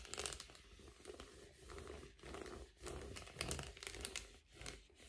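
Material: Metallic foil.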